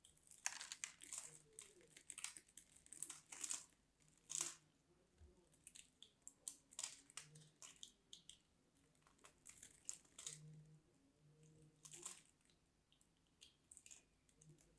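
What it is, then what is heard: Bar of soap being carved. A craft knife blade scrapes and carves the surface of a solid, dry, mint-green striped bar of soap into crumbs. Short, bright, crumbly scraping and crunching bursts come in irregular succession, each dying away quickly against a quiet background.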